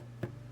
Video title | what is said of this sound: How to Prepare Your Hoop - 2024 Advent Stitch-Along with Abide Embroidery Co. | whenever you flick it and it sounds like a drum